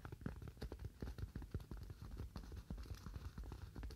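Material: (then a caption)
Polystyrene foam. A solid, roughly hand-sized white styrofoam slab is held and tapped quickly with fingernails. The result is a rapid, uneven patter of short, dull, low taps with almost no high brightness, each dying away almost at once.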